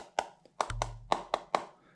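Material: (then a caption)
Plastic. Seven taps along a cheap RC truck's "Li-Polymer" battery pack, each a short, dry knock with a mid-range tone, and a faint low hum partway through. The pack is heavy in the middle and sounds different along its length instead of like one solid mass, and it turns out to be a fake that isn't a real lipo.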